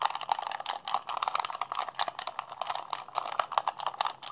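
A hollow blue plastic PlayStation 3 handheld controller is held in both hands while fingertips and thumbs rapidly mash its buttons. A fast, dense stream of short, dry plastic clicks and rattles is heard, centered in the midrange around 1.1 kHz with almost no low end. Each click dies away almost instantly.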